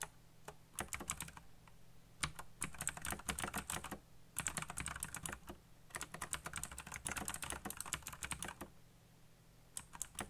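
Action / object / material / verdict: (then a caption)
tap / mechanical computer keyboard with plastic keycaps / plastic / none. Fingertips fast-type on a black backlit mechanical computer keyboard with plastic keycaps, producing rapid bursts of sharp, bright clicks separated by short pauses. A steady low hum runs underneath throughout.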